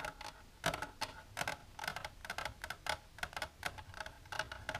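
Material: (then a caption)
Plastic. Long silver nails tap on the walls of a long, empty, clear plastic tray with a divider resting on a table. A quick, uneven run of light, sharp clicks, each with a brief hollow ring around 650 Hz and bright high overtones, dies away almost instantly between taps.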